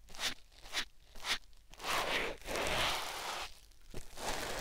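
A white foam sponge block, held in the fingers, is rubbed against a silicone ear microphone. Three short, bright, crunchy scratching strokes are followed by longer, steadier rustling rubs and then a final sharp stroke, all close and airy with a high hiss.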